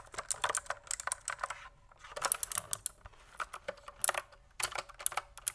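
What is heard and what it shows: Fingertips type on a pink plastic mechanical keyboard with a cable, producing bursts of quick, sharp, bright clacks that stop dead with almost no ring. Short pauses separate the runs of keystrokes.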